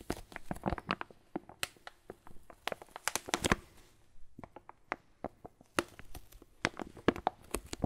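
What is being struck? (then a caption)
Foil-laminate coffee bag filled with beans. Fingers squeeze and crinkle a red and black foil-laminate Lavazza coffee bag, padded and filled with beans. Quick, dry crackles and crisp crinkles snap out in dense bursts, each dying almost instantly. The bursts pause briefly around the middle before resuming, with bright, sharp edges over a soft rustle.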